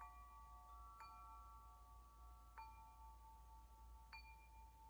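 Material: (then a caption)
Metal. Hollow metal wind chime tubes hang from a hand-held string and are swung so the striker rings them. A few bright metallic strikes ring out with long, sustained tones centred near 890 Hz, overlapping and slowly fading over a steady low rumble.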